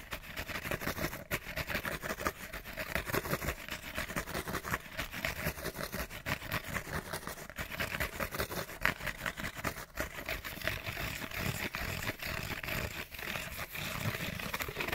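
Fingernails rapidly scratch a small, hollow, printed cardboard light bulb box held in both hands. The result is a dense, continuous rasping scrape made of many quick, overlapping strokes with a bright, papery edge. It stays at a fairly steady level for the whole clip.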